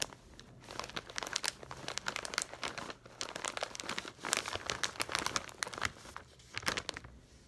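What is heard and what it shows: A medium Snackworthy foil-lined plastic snack pouch, full of toffee nuts visible through its window, is squeezed and crinkled with the fingertips. Dense, bright crinkling crackles come in bursts of rapid snaps, separated by brief quieter pauses, with almost no low-end body.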